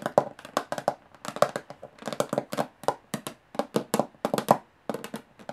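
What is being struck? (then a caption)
Metal box. A metal box is tapped with the fingernails at varying speeds, giving about 27 short, sharp clicking taps in quick bursts with brief pauses between. Each tap is dry and mid-pitched, dying away almost instantly with no lingering ring.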